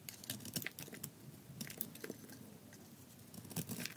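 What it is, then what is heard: Dry soap bar being shaved. A solid gold-coated bar of dry soap, held in the hands, is shaved with a metal utility blade, with the shavings falling onto the table. A rapid series of short, dry crunching and scraping strokes is heard, with bright, high crackle over a soft low rustle.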